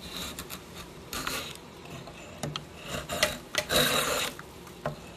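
A steel drawknife blade is drawn repeatedly along the surface of a clamped, flat solid oak board about a hand wide with visible grain, scraping and shaving it. Each stroke gives a short, bright, raspy scrape against a quiet background, with a few louder, longer rasps toward the end.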